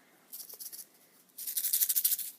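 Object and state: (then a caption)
Dried chili with loose seeds inside. A destemmed dried red chili pepper, being prepped for tamale sauce, is shaken in two short bursts. The loose seeds inside give a dry, bright, high-pitched rattle. The rattle shows that seeds are still inside and need to be removed.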